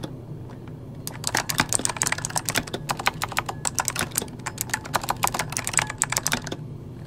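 Both hands type rapidly with their fingertips on an RGB-lit plastic mechanical computer keyboard resting on a desk; the solid board has hollow key switches. After about a second of quiet, a dense run of sharp, bright, clacky key presses begins, each dying away almost at once over a steady low hum, and it stops about half a second before the end.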